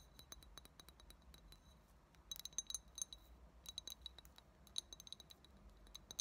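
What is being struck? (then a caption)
Glass drinking tumbler. Long fingernails tap along the sides and rim of a small, hollow, empty clear glass tumbler with a thick tinted base. The result is a series of quiet, quick, bright clicks, each with a brief high glassy ring, loosely clustered into bursts.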